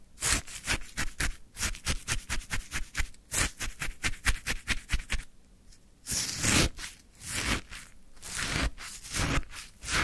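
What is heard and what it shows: A wooden stick digs into a full plastic cup of crunchy orange frozen shaved ice. It makes a rapid run of short, crisp crunching scrapes for about six seconds, then several longer, broader scraping crunches with bright, hissy texture.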